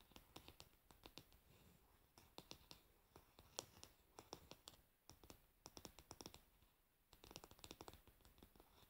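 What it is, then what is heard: Varnished wooden hairbrush back. Long nails on both hands tap rapidly on the solid, varnished wooden back of a paddle hairbrush resting with its pins facing down. The result is quick, bright, dry clicks in dense bursts, separated by brief pauses, with a faint scratchy texture between the taps.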